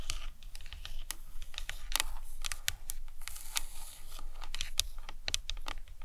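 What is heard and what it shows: Long nails tap and scratch the cranium of a hollow plastic anatomical skull model. Quick, sharp, bright clicks and brief scratchy rasps come in an uneven run over a steady low rumble. Each tap dies away almost instantly.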